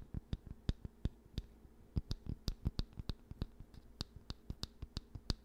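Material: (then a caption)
Wood. Fingertips and nails tap and scratch the smooth surface of the oval, solid wooden back of a hair brush held close to the mic. Quick, dry taps with a faint brightness land in an uneven rhythm, each dying away almost at once. A steady low hum sits underneath throughout.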